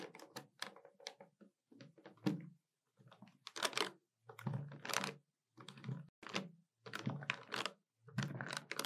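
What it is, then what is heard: Plastic desktop calculator keys. Fingertips and long nails rapidly tap and press the plastic keys of a hollow black plastic desktop calculator. Quick bursts of dry, bright clicks with dull low thuds come in clusters separated by short pauses, with no ring after each press.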